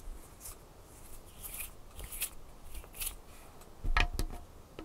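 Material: Wood.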